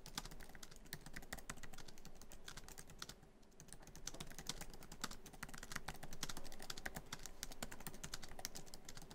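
Fingertips of both hands type quickly on a MacBook Pro keyboard, whose black plastic keys are set in a hollow silver aluminum laptop body. A dense, uneven stream of soft clicky taps runs throughout, with a brief lull near the middle, and a low thump under each short, bright click.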